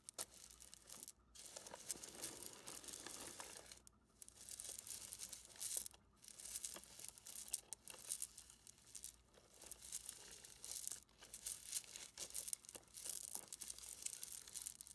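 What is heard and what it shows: A full mesh net bag of small, smooth river pebbles is rubbed with an open hand and squeezed and handled by fingers. The stones grind and clatter together inside the netting in a continuous, bright, crackly texture with brief pauses.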